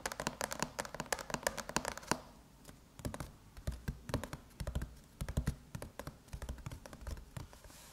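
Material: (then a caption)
Aluminum. Long metallic nails tap and scratch the closed silver aluminum lid of a MacBook, which bears the Apple logo. The result is a fast run of short, dry clicks and ticks with bright edges, separated by softer, hiss-like scratching. The tapping is dense at first, thins into a quieter scratchy stretch, then picks up again.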